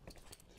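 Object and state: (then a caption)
Motorcycle exhaust securely mounted, no rattle. Three dull, low taps are heard on a newly fitted metal Black Widow aftermarket exhaust on a brand new Yamaha R7 motorbike after its header bolts have been tightened, to check for rattles. Each tap dies out almost at once, with no rattle, showing the exhaust is mounted securely.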